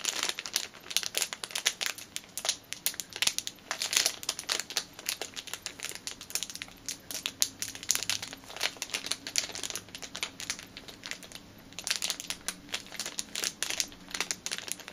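Long painted nails crinkle and rub a small clear plastic bag with a black rubber band inside. The result is a dense, continuous stream of bright, crisp crackles and rustles that rise and fall in intensity, with almost no low-end sound beneath them.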